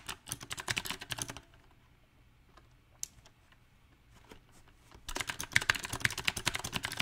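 A small 68-key backlit mechanical keyboard with round typewriter-style plastic keycaps on a silver metal plate is typed on with the fingertips of both hands. A quick burst of bright, clacky keystrokes runs for about a second and a half, then sparse isolated clicks follow over a near-silent gap. Dense, fast typing resumes for the last two seconds.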